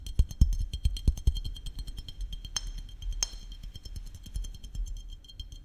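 Fingertips and nails tap the glass body of a small glass maple syrup bottle with a red cap and label, held close to the microphone. The result is a quick, uneven run of soft, dull taps with a deep low thump beneath them and a faint bright tick on top. Two sharper, brighter clicks stand out midway through.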